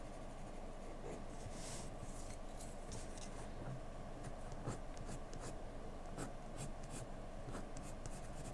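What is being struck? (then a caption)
Graphite pencil on a paper sheet. A wooden graphite pencil held in the hand scratches a single flat white sheet of drawing paper resting on a desk with short strokes of its tip. Quiet, dry scratching and brief bright rasps sit over a steady low background hiss, while the overall level stays soft and even throughout.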